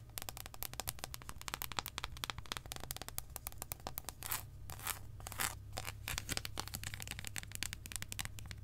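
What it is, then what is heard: Dark chocolate bar tapped and scratched with nails. A long, solid, embossed dark chocolate bar held in the hand is tapped and scratched with long acrylic nails. Rapid, sharp, dry clicks with bright tops run throughout, broken by a few longer, hissy scratching strokes in the middle, over a steady low hum.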